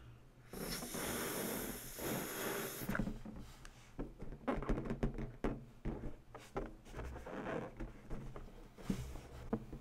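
An inflated purple latex balloon, hollow and air-filled, is held in one hand while long bare natural nails and fingertips scratch and rub its surface. A steady, bright hissing rub fills the first few seconds. It then gives way to a run of short, dry scratches and squeaky rubs over a low, hollow body.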